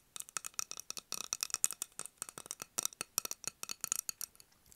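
A medium clear glass candle jar filled with candle wax, with a wooden lid, is held in the hands and tapped with long acrylic nails on its glass sides and lid. About 27 quick, bright, high-pitched clicks and clinks come in uneven bursts, each dying away almost instantly with no low end.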